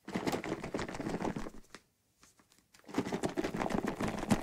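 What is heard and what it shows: Fingernails tap and scratch the side of a white plastic bottle partly full of soapy water, and the bottle is shaken. The result is a dense run of quick, dry, irregular clicks and scrapes that goes nearly quiet for about a second in the middle, then resumes just as busily.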